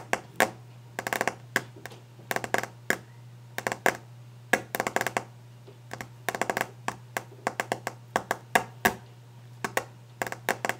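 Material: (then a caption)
Wood. Long orange glitter-painted nails tap and scratch quickly across the solid, polished, varnished wooden desk top. Sharp, dry clicks come in fast clusters and quick runs, each dying away almost at once, with brief scratchy bursts between them. A steady low hum sits underneath throughout.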